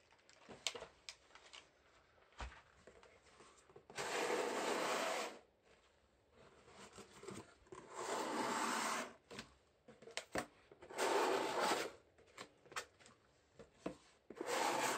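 Gloved fingertips with rubber tips rub and scrape along the walls of a hollow, empty medium corrugated cardboard shipping box with its flaps open. Four long, broad, raspy scraping passes stand out, separated by quieter stretches of brief taps and light brushing. The sound is dry and papery with little low end.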